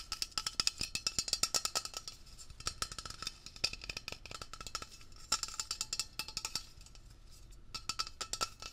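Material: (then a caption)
Metal. A metal Blue Coral upholstery cleaner aerosol can, about 20 cm tall, hollow and pressurized, is held in one hand while fingertips and short nails rapidly tap and scratch across its printed label. The result is a dense stream of sharp, bright, dry clicks with faint metallic ringing tones, broken by short quieter stretches of scratching.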